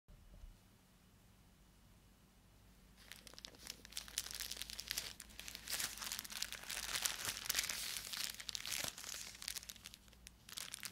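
A small black plastic poly mailer with a white address label and something inside is picked up by gloved fingertips, then squeezed and crinkled. After about three seconds of near silence, dense, bright, crackling crinkles fill the rest of the clip with quick uneven bursts, fading briefly near the end before a final flurry.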